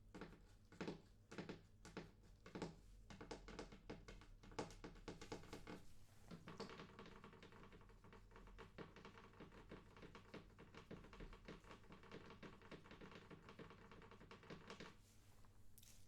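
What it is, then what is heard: Wooden coffee table. Fingers tap on a wooden coffee table, making quick, dull knocks with little ring. The taps come in uneven bursts for about sixteen seconds, with a low steady hum underneath.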